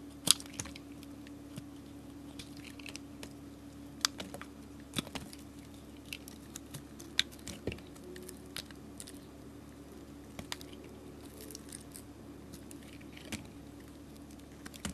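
A metal utility blade scrapes and shaves powdery bits off a solid pink glittery soap chunk held in the fingers. Quiet, bright scratchy rasps and sharp little clicks come at irregular moments over a steady low hum.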